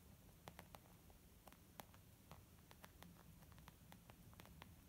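Long nails and fingertips tap rapidly on a white textured leather zip pouch makeup bag. Quiet, sharp little clicks and soft pats scatter irregularly over a steady low, hissy background, each tap dying away at once.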